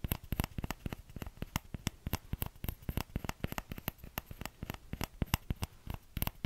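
Fingertips tap the hollow bowl of a small orange plastic ladle in a quick, uneven stream of short, dry taps. Each tap is a dull, low knock with a faint bright click and almost no ring, over a soft background hiss.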